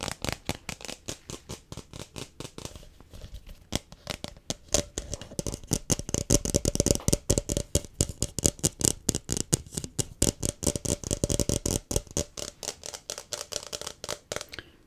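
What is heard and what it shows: A blue, hollow, empty hard plastic tumbler-style cup held in both hands is tapped and scratched with fingertips and nails along its tapered body. The result is a fast, irregular stream of short, dry, clicky taps mixed with brighter scratching hiss that swells and fades through the middle of the clip.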